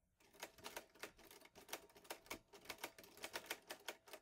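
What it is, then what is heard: Metal portable typewriter. Fingertips type steadily on the keys of a vintage teal metal Underwood Olivetti Lettera 22 portable typewriter with paper loaded. About twenty sharp, bright clacks sound in quick succession, each dying away almost at once, with little low-end weight.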